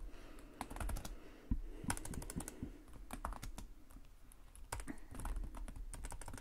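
Rapid fingertip typing with both hands on the plastic chiclet keys of a black laptop keyboard resting on a desk. It makes a quick, irregular stream of short, dry clicks and taps with a low thump under them, then brief pauses before the bursts resume.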